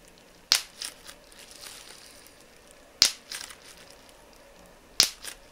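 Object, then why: Plastic bubble wrap. A flat piece of clear plastic bubble wrap is held between both hands while individual bubbles are pinched with the thumbs and fingertips. Three sharp, crisp, bright pops are heard, spaced a few seconds apart, each followed by softer crinkling crackles of the plastic. The pops are almost entirely high in pitch, with very little low end.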